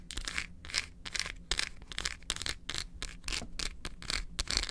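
A large solid milk chocolate bar is held upright in both hands while long acrylic nails quickly tap and scratch its back and edges. The result is a run of bright, dry scraping and crunchy scratching bursts with short taps, separated by brief quiet gaps over a faint low hum.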